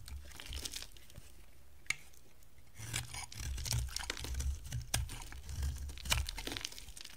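A hand-sized, solid, oval bar of dry green soap is scraped and carved with a box-cutter blade, held in hands with long blue nails. Crisp, crunchy scraping and crumbly tearing sounds are heard, with bright sharp clicks of the blade over a low rumble. The cuts are sparse at first and grow denser and steadier after about three seconds.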